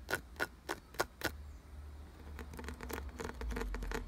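Fingertips and nails tap and scratch rapidly on a solid, glossy brown carved wooden piece with ridged grooves. Five sharp, evenly spaced clicky taps come first, then a faster, denser run of tapping and scratching. A steady low rumble sits underneath throughout.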